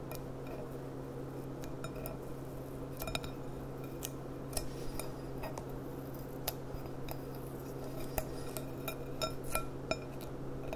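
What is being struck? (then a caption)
Thin glass goblet. Long dark nails tap and click across a clear, empty, thin glass goblet bowl with a gold rim, held on its side. Sharp, bright clinks with a brief ring are scattered over about eleven seconds, above a steady low hum.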